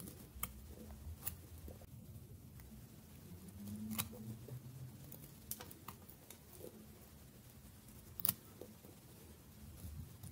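A small cube of dry solid bar soap, held in the fingers, is cut with a metal blade pressed down from above. Quiet, sharp, bright clicks and crisp cracks sound at irregular intervals over a low, steady background hum, each dying away almost instantly.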